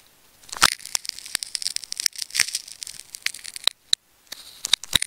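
A hand-sized solid ball of wound pink and dark-blue plastic adhesive tape is held in the fingers while a craft knife blade is drawn through its layers from the side, cutting and scraping the tape. The sound is a bright, crackling tearing texture full of sharp, quick snaps with almost no low end, broken by a brief near-silent pause before the cutting resumes.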